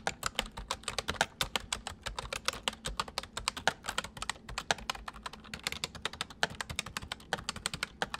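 Fingertips of both hands type rapidly on a white full-size plastic mechanical computer keyboard. A dense, uneven stream of short, bright, dry clicks and taps continues for about eight seconds, with a faint low hum underneath.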